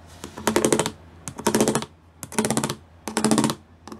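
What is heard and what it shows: Fingertips and nails tap quickly across a grey plastic sheet covered in pyramid studs, making four short bursts of dry, clicky ticking. Each burst has a hollow body near 200 Hz and bright, crisp high clicks, with quiet pauses between bursts.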